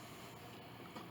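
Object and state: Nothing is struck.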